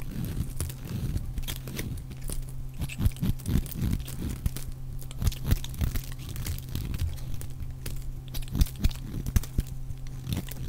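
A utility knife blade shaves and scrapes curls off the surface of a solid, dry, oval green soap bar held in one hand, in repeated strokes. Each stroke gives a crisp, crunchy scrape with sharp, short snaps, over a steady low hum.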